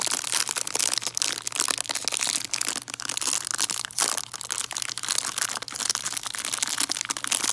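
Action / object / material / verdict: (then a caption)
scrape / cellophane-wrapped peppermint candies / cellophane / none. Long nails scratch and crinkle the cellophane wrapping of a hard peppermint candy tree. The result is a dense, continuous stream of bright crackling and crinkling with quick, sharp snaps, sitting almost entirely in the high range with no low end.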